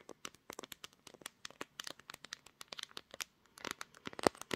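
Long nails tap and scratch the back panel and camera bump of a pink glass-backed smartphone that is also doing the recording. A quick, uneven stream of dry, crisp clicks and brief scratchy rustles plays with almost no ring and little low end. The taps grow denser and louder toward the end.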